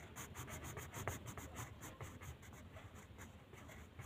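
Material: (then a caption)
Paper. The tip of a blue wooden colored pencil rubs and scratches across a thin white paper mandala coloring sheet lying flat on a table in short coloring strokes. The result is a quick, fairly steady run of soft scratchy strokes, about three per second, with bright papery hiss over a low, muffled rubbing body.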